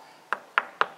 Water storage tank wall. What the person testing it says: that's how you can tell where your water level is